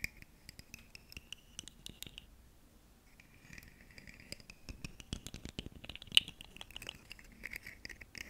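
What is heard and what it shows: Long nails scratch and tap along the segments of a ribbed, segmented purple plastic articulated fidget slug toy held close to the microphone. The sound is a quiet, bright, dry scratching rasp centred near 3 kHz, broken by many quick, sharp clicks that stop dead, with a brief near-silent pause before the scratching and tapping resume.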